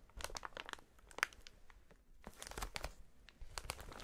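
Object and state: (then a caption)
Plastic air cushion packaging. A clear, inflated plastic air-cushion packaging strip with hollow cells is bunched and squeezed between gloved hands. Dense bright crinkling and crackling bursts come in waves, with one sharp louder crackle near the start. A brief quieter lull follows before the crinkling resumes.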